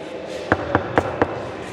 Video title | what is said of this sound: Agra fort tour - Agra fort History - Agra ka kila - Agra fort - Red fort Agra - Agra kile ka Itihaas | ये वॉल अंदर से खाली है, एम्प्टी वॉल